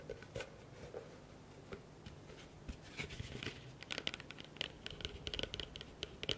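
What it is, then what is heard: Plastic bowl. Fingertips and nails tap and scratch the outer surface of a large, empty blue plastic bowl with its rim facing the microphones. Soft, sparse scratches and taps grow into a quicker run of dry, bright clicks in the second half. Each hit dies away instantly with a thin hollow tone near 3 kHz.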